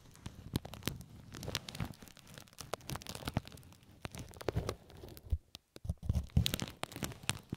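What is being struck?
Plastic film.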